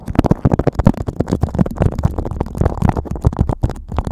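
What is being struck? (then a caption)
Beeswax-coated cotton food wrap. A yellow beeswax-coated cotton food wrap sheet draped over a microphone is scratched, pinched and crinkled by fingertips, the stiff waxy fabric giving a rapid, continuous run of close, dry crackles and soft thumps. The sound is heavy in low, muffled rumble with sharp, short-lived rustles and no lingering ring.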